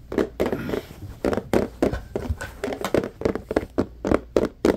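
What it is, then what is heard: Clear plastic organizer box, tapped. A medium-sized, hollow, transparent plastic compartment organizer box, apparently empty, is held in both hands and tapped and rubbed with fingertips. The result is a quick, irregular series of short, dry, hollow plastic knocks with a mid-range body and almost no ring, separated by soft rubbing scrapes.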